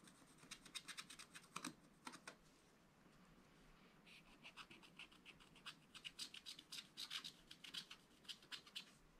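A wooden stylus scratches vertical lines into the black wax coating of a small spiral-bound scratch-art paper pad. Quick, dry, bright scratching strokes come in a rapid run, pause for about a second and a half, then resume in a denser, steadier series of short rasps.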